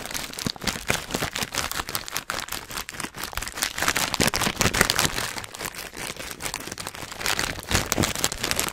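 A filled, hand-sized Hot Nuts snack bag of metallized plastic foil is crinkled and squeezed with the fingertips of both hands close to the microphone. It makes a continuous dense crackling and crinkling with bright, sharp rustles and small crunchy peaks throughout.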